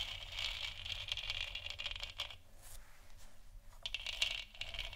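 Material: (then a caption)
Plastic. A lit, hollow plastic moon lamp sphere is scratched and tapped along its sides with long nails. The sound is a bright, continuous scratching with quick tapping clicks mixed in, pausing briefly in the middle before picking up again.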